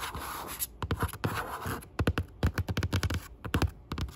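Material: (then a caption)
Aluminum. Long pink acrylic nails tap and scratch across the top of a closed grey aluminum laptop lid lying on a wooden desk, a flat hollow device. Quick, irregular clusters of short, dry clicks have a low hollow thump beneath them, separated by soft rubbing scratches. Each tap dies away almost at once.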